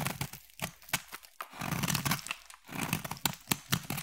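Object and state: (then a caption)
Bar soap being carved. A solid black bar soap, held in the hand, is carved with a utility knife blade into thin flakes. Short, crisp scraping cuts alternate with a few longer, smoother shaving strokes, each bright and dry with almost no ring.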